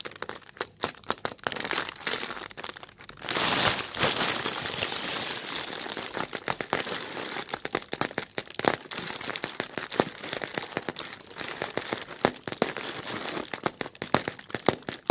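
Short red fingernails scratch along the creases of a thin, translucent plastic film bag that is soft and loosely filled. The bag gives dense, crisp crinkling with sharp clicks and brief crackles throughout. A louder, smoother rustling swell sits near the four-second mark.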